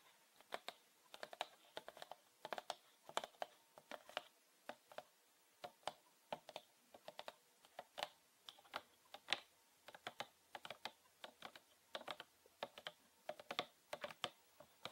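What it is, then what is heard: Plastic bottle. Fingernails tap and scratch the ribbed body and label of a green PET plastic bottle with a red cap, filled with liquid. Quick, dry, bright clicks and scratches come in uneven bursts over fifteen seconds. Each click dies away almost at once, with no low thud or ring.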